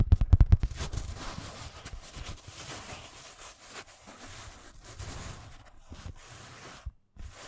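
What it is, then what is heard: Fabric pencil case. A padded, filled black nylon fabric pencil case is held in the hands and tapped and scratched with fingernails. It opens with a quick burst of dull, low thumping taps, then settles into a softer, steady scratching rustle. There is a brief pause near the end before one more light tap.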